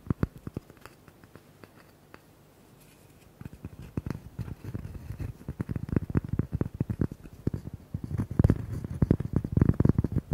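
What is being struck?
Cork coaster.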